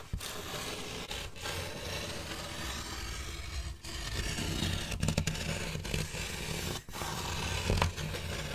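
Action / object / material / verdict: scrape / styrofoam packaging insert / styrofoam / none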